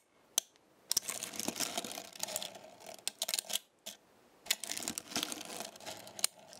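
Small metal stars on a black star-shaped magnetic base are pressed and lifted by a fingertip with a long nail. This produces quiet, bright clicks and clinks in short irregular bursts, with a few sharper snaps standing out. Each tap dies away almost instantly, with brief silent gaps between bursts.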